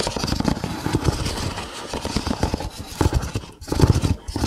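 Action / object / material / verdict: scrape / nested kraft paper cups / paper / none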